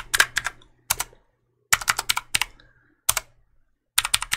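Fingertips repeatedly press and click the keys of a black plastic mechanical keyboard held vertically beside the microphone. Short, bright, crisp clicks come in quick bursts separated by brief silences, each one dying away almost instantly.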